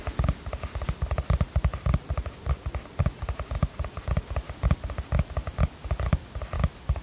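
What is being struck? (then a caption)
Cardboard hardcover notebook cover. Long fingernails tap and scratch the cover of a teal cardboard hardcover notebook with a star-chart print, held upright in both hands. About thirty quick, soft, dull taps land in uneven bursts, each a low, muffled thud that dies away almost instantly, with faint scratchy brushing between them.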